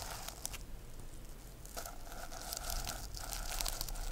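Long nails brush up and down across the plastic sequins of a rainbow reversible sequin notebook. A steady, dry scratching and crinkling rustle plays throughout, with bright little clicks as the sequins flip. The sound grows slightly louder toward the end.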